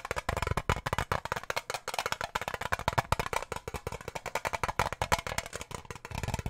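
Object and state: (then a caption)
Metal tin. Fingernails tap quickly on the lid and rim of a small, round, hollow blue-and-silver metal tin, pomade-style, held in both hands close to the microphone. The steady run of dry, clicky taps has a hollow low body and dies away almost instantly after each hit.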